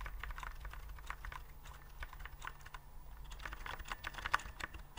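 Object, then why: Plastic keyboard with round keycaps. Fingertips type and tap on a white plastic typewriter-style keyboard with round keycaps, held upright. The keys give a quick run of light, crisp plastic clicks with bright ticks over a steady low hum, and one sharper click stands out near the end.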